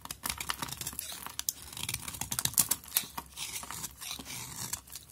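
A utility knife blade scrapes and shaves flakes from the surface of a solid pink bar of soap held in the hand. A continuous run of quick, crisp, bright scraping ticks comes in dense bursts, with little low end.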